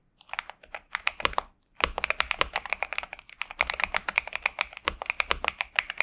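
A pink and purple Xinmeng M71 65% mechanical keyboard with TTC Superman switches and plastic keycaps, resting on a desk mat, is typed on continuously with the fingertips of both hands. Crisp, bright clacks come in quick runs, with a short pause near the start. There are many separate keystrokes with almost no ring.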